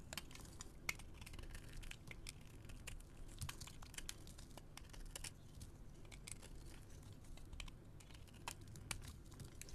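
A metal blade scrapes and carves flaky shavings off a solid white soap bar held in the hand. Dense, quick, dry crackles and bright scratchy ticks ride over a steady low rumble. Each stroke is short and cuts off almost at once.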